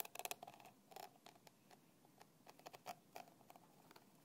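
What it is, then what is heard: Plastic bottle cap. A thin black stick rubs and scratches the red plastic cap of a small, partly filled translucent plastic bottle lying on its side. Quiet, dry clicks and scrapes come in an irregular series, each with a bright edge and a faint hollow tone near 790 Hz that stops almost at once.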